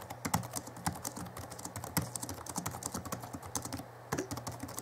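Both hands type rapidly with their fingertips on the backlit chiclet keyboard of a 2011 Alienware M11x2 laptop with plastic keys. A quick, irregular stream of short, clicky plastic key taps, some louder than others, plays over a low steady hum.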